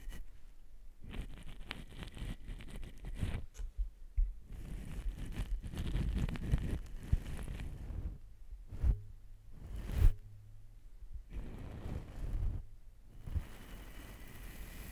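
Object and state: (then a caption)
Metal shotgun microphone being brushed. A large cream-colored shaving-style brush, held by the fingertips, sweeps and rubs over a long black slotted metal shotgun microphone, a hollow tube mounted on a stand. It makes a dense, low, rumbling scratch and rustle in uneven bursts, with brief soft thumps and short quiet gaps between strokes.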